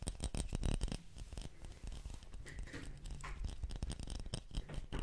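Fingernails scratch and tap along the body of a small clear glass bottle with a pink metallic cap, held upright in both hands. Quick, dry taps and scratches run close together throughout, with a soft low-heavy sound and short clicks that die away almost at once.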